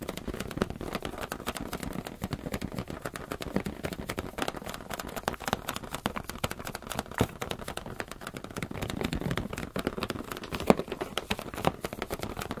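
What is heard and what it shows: Fingers tap rapidly and steadily on a rubber balloon, making a dense stream of short, dull, soft thumps. The taps are mostly low and mid in tone, with almost no high content, and each one dies away almost at once.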